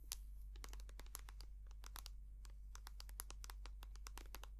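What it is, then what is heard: Plastic cream tube. A small white soft plastic squeeze tube of hand cream, hollow and filled with cream, is rapidly tapped and scratched with long painted nails. The result is a dense stream of sharp, bright clicks and crisp scratches, each dying away almost at once, over a steady low hum.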